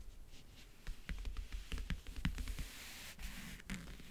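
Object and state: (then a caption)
Leatherette-covered backgammon case. Fingernails tap, grip and scratch the lid of a closed, hollow backgammon case covered in map-print faux leather. The result is a quiet, irregular string of short, dull knocks with a low, hollow body, mixed with soft scratchy rustles. Each tap dies away almost at once.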